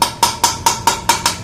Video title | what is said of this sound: Honda Beat Ada Suara Bengung Dibagian Gear Box Cvt -- Ini Solusinya | Sampai bunyinya nyaring itu tandanya sudah mentok pol.